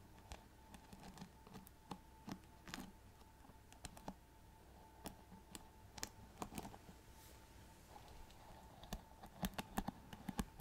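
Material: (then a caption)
Plastic. Long nails tap and scratch the glittery rhinestone back and metal-tipped bristles of a handheld paddle hairbrush with a hollow plastic body, held close to the mic. Quiet, sharp clicks in irregular bursts ring out briefly over soft scratching, a faint steady mid tone and low background rumble, growing denser toward the end.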